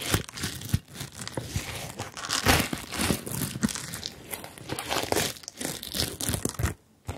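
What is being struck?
Plastic sequin fabric bag.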